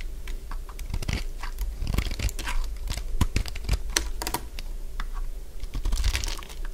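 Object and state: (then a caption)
Dry bar soap. A hand-sized, solid cream-coloured bar of dry soap, held in one hand, is shaved with a utility blade. Quick, dry crunching and scraping bursts with bright crackle rise over a steady low hum as the blade cuts the soap into crunchy curls.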